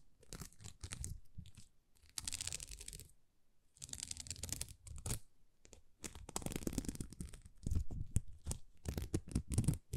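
Long nails scratch a thin, flexible sheet of small plastic rhinestone stickers, producing bursts of crinkly, tearing rasps with a bright crackle over a soft, low rumble. The scratching comes in uneven clusters separated by brief quiet gaps, and each burst stops sharply with almost no ring.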